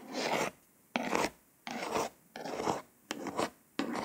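Six separate scratchy strokes, each about half a second, broad and hissy with no ring or pitch. Long nails rasp over the embossed letters of a glossy paper hardcover, so the bumpy raised print gives a gritty, filing-like texture. Quiet gaps between strokes.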